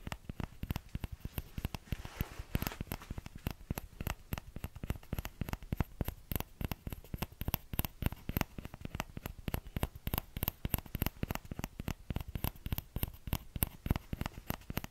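Fingertips tap the rim of the hollow bowl of a small orange plastic ladle in a rapid, steady patter for the full clip. Each tap is a short, dull knock with a low thump and almost no ring, plus faint high clicks, and a soft rustle briefly rises near the start.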